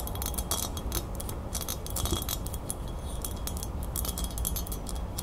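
Long nails tap and scratch the beaded band and base of a small, hollow, silver-toned metal crown. Rapid, bright clicks and light metallic ticks run throughout over a steady low rumble, with a clinking, jangly quality.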